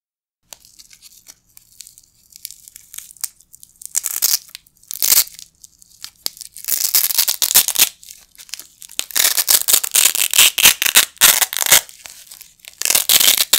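A pair of small, flat, light green nylon hook-and-loop Velcro patches, held with the fingertips over a carpet, is ripped apart again and again. The tears come as bright, high, crackling rasps, some quick and some longer and drawn out, with brief quiet gaps between them.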